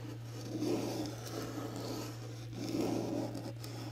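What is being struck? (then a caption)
Cardboard box covered in glitter paper. A small rectangular cardboard gift box with a teal glitter paper top reading "HOORAY" is held in both hands while fingernails tap and scratch the glitter surface. The result is a soft, papery scratching that swells twice over a steady low hum.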